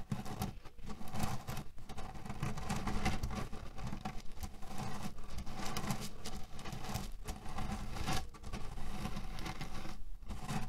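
A small square cotton cushion with a red cherry print, filled with cherry pits, is scratched with fingers, then pressed and rubbed with flat hands so the pits grind together. This makes a dense, low, continuous rattling, crunching patter with only brief dips between strokes.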